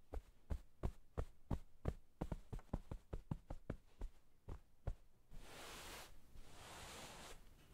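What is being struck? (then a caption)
Soft pillow in a flannel case. Hands in white satin gloves pat a soft pillow in a blue flannel-like pillowcase with a sheep print, lying on a wooden table, making about 18 soft, muffled, low thumps over the first five seconds. The patting then gives way to a steady, airy, bright rubbing hiss as the fingertips smooth the fabric surface.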